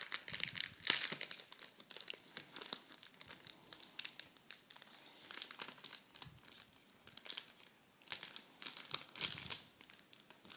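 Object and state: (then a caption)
Plastic packet of metallic tissue paper. A plastic packet of red metallic tissue paper is opened and pulled by fingers, making bright, dense crinkling and crackling throughout, with a sharper snap near the first second. The sound is quiet, almost entirely high-pitched, with no low end and no ring after each crackle.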